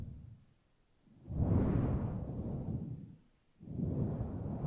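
Long glossy nails and fingertips rub and scratch a large, fluffy grey synthetic fur windscreen that sits soft and hollow over a microphone. The result is a deep, muffled, rumbling rustle that swells in two long waves, separated by a brief quieter dip. It carries almost no high, bright content.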